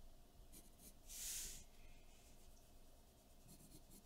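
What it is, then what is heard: Pencil sketching on drawing paper. A graphite pencil scratches sketch lines across a large sheet of white drawing paper taped flat to a dark board. Faint, brief bright scratches come and go over a steady low hum, with one louder, longer hissing stroke near the middle. The strokes stay quiet and dry, fading quickly.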